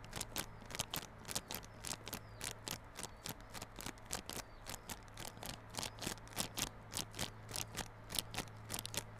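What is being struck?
Cardboard box in plastic film.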